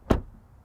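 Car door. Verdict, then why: Solid. A Mercedes EQB's door is shut from the outside, giving a single low, dull thud with a short decay. The closing sounds solid.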